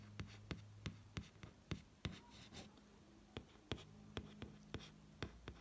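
Roughly fifteen crisp, short taps, bright clicks with no ring, spaced irregularly with soft brushing between them. The stiff board cover damps each tap instantly, giving a dull, papery knock. A steady low electrical hum sits underneath.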